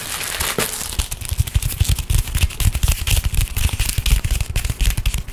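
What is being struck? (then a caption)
Thin tissue paper. Fingers crinkle, scratch and fold sheets of thin pink tissue paper. Quick, uneven crackling and rustling bursts come about four times a second over a soft hiss, with dull low thumps under the crinkles.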